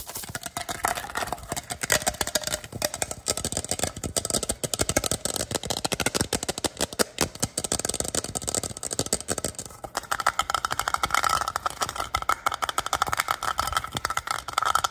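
An empty-looking clear plastic water bottle with a tree print and a black plastic lid, held in both hands, is tapped and scratched on its sides and base with fingertips and short nails. The result is a fast, continuous stream of light, bright plastic clicks and crinkly scratching with little low end. After about 10 seconds a faint steady tone rises under the tapping.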